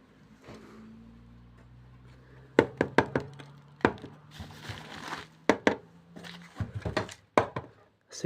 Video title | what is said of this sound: on se croirait dans the last of us. | C'est creux là, ça sonne creux à l'intérieur.